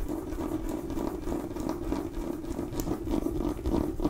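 A small cream-and-orange striped mini pumpkin with a dried stem, a hollow gourd, is scratched and tapped with long nails. The result is a steady, dry scratching patter with light irregular taps over a hollow, low-mid resonance around 300 Hz.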